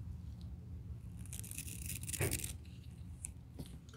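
A white plastic-bristle suede brush, held in gloved hands, is rubbed and scrubbed across the upper of a hollow, empty grey-brown suede high-top sneaker resting on a towel. Soft, dry bristle scratching builds into a brighter, denser scrubbing burst in the middle of the clip, then eases into lighter strokes. A steady low hum sits underneath throughout.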